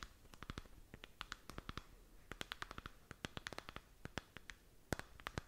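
Long nails scratch and tap a glowing, textured plastic moon lamp sphere held up in the air. The result is a quiet, irregular stream of dozens of short, dry, bright clicks and scratches with no ring after each one, over a soft low background hiss.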